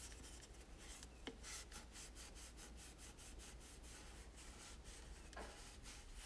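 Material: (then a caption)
Plastic. A cloth held in the fingers wipes and rubs a hollow plastic toy tower, making soft, rhythmic swishing strokes with a bright, airy hiss. A couple of faint clicks sound from the plastic, and a steady low hum runs underneath throughout.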